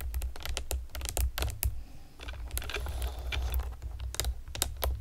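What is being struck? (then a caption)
Plastic computer keyboard with round keycaps. Long painted nails and fingertips rapidly tap the hollow round retro keycaps of a pastel plastic typewriter-style computer keyboard, making quick, sharp, bright clicks over a steady low hum. The tapping eases briefly around two seconds, then returns as a denser, scratchier clatter before settling back into crisp individual clicks.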